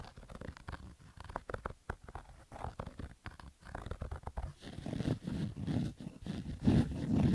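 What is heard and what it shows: Fingernails scratch roughly across the stitched fabric of a black Adidas baseball cap, making rapid, uneven rasping strokes with a dull, low-heavy tone. The scratching grows louder and denser in the second half, blending into a continuous scrape.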